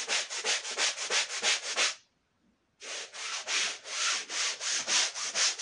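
A faded red woven wool Persian rug, dirty and dusted with powder, is scrubbed with a long-handled push brush. Rhythmic, bright, hissing brush strokes repeat steadily, stop for a brief silent pause, then resume at the same pace.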